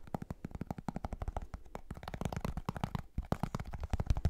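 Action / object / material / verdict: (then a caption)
tap / plastic powder tub with plastic lid / plastic / none. Fingers tap and scratch the white plastic lid and side of a plastic G Fuel powder tub held close to the mic. The result is a rapid, uneven run of short, dull, hollow taps with soft scratching between them. The sound is mostly deep and thumpy, with little high content and almost no ring after each tap.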